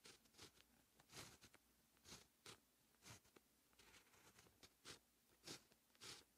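A dark fine-tip pen held in the fingertips writes Korean text on a flat sheet of white lined writing paper. The result is continuous, bright pen-on-paper scratching in short, irregular strokes and bursts, with quiet pauses between them.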